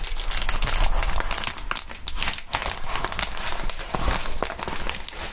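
A crumpled ball of clear plastic bubble wrap with air-filled bubbles is squeezed and crinkled by gloved hands with bare fingertips. The sound is a steady, dense crinkling with many sharp, bright crackles and small pops over a low rumble. It fades slightly midway, then picks back up.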